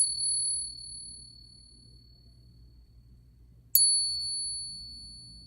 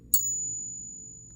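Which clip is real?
The first.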